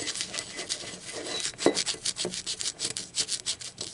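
A blue speckled ceramic mug lies on its side while long acrylic nails tap and rub its printed base and rim. The result is a steady run of quick, dry, bright clicks and scratchy rubbing, with one sharper, louder tap near the middle. Each tap dies away almost instantly, with little low end.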